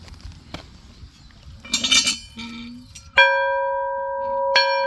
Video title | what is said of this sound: Ringing the 1880s farm bell. #farm #bell #ring #antiques #antique #collector #collecting #castiron | It's similar to cast iron, but it was cheaper and more durable and it has a lot nicer resonating sound for the bell.